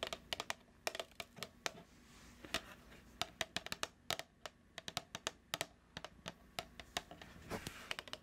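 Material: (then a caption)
Plastic. A medium plastic cookie dough tub with a printed label, held near the mic, is tapped with long nails 32 times. The taps are short, bright, clicky and irregular in rhythm, each dying away almost instantly over a faint steady hiss.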